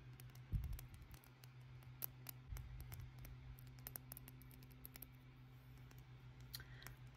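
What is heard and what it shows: A slim, hollow black plastic pen with a silver metal ring is held in both hands while fingernails tap and scratch along its barrel. Quiet, sharp clicks and light scratching patter across the clip over a steady low hum, with a couple of soft, dull thumps near the start.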